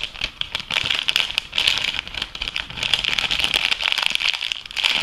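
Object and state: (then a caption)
Crinkled plastic food bag. An empty, hollow, clear thin plastic packaging bag from an organic food product is held and crumpled between fingertips and painted nails. It makes a steady stream of bright, dry crinkling and crackling, with almost no low end and most of its energy high, peaking around 3.4 kHz. The crackles come in dense bursts that swell and dip without pause for the full five seconds.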